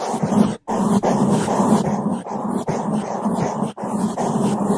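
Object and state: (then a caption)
Foam microphone windscreen being brushed. Two bamboo toothbrushes held in gloved hands scrub fast over the top of a black foam microphone windscreen. The result is a loud, dense, muffled bristle rustle concentrated in the low and mid range with little brightness, broken by a few brief silent gaps between strokes.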